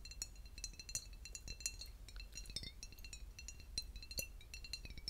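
A clear, flat-sided glass bottle filled with pale pink liquid is tapped with fingertips and short nails on its glass surface. The result is a quick run of light, bright clinks with a high glassy ring that dies away almost instantly, over a low background rumble.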